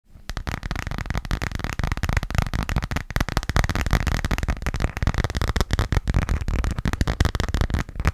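A hand-sized, thin-shelled transparent plastic phone case decorated with yellow duck stickers is tapped quickly with fingertips and nails. It makes a dense, continuous stream of short, sharp clicks and muffled taps that run together for the whole clip.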